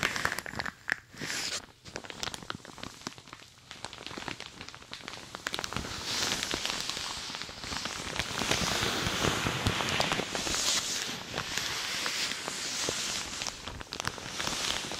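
Long dark nails and fingertips scratch and rub a thin, hollow, light green shiny plastic or satin-look shower cap with an elastic frilled edge, stretched over a rhinestone-covered dummy head microphone. The result is dense, bright crinkling and crackling with quick irregular scratches, quieter at first and then growing fuller and louder after about six seconds.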